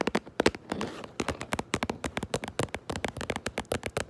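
Long nails tap rapidly on the front of a cardboard Minecraft Lego box held close to the microphone. The taps are short, dry and hollow, with little ring. A brief soft scratching sweep comes early on before the steady tapping resumes.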